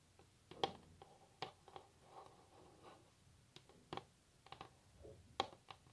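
Long natural nails tap on a solid varnished wooden tabletop, making sharp, quick clicks with a bright edge that die away almost at once. Soft scrapes and brushing sounds fill the gaps between taps.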